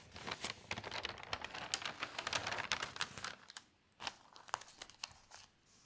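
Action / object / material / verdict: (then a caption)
scrape / newsprint newspaper pages / paper / none. One hand lifts and turns the large, thin pages of an open newsprint newspaper while the other hand smooths them. This makes dense, bright crinkling and rustling for about three and a half seconds. The sound then quiets to a softer rustle broken by a few sharp crackles before fading out.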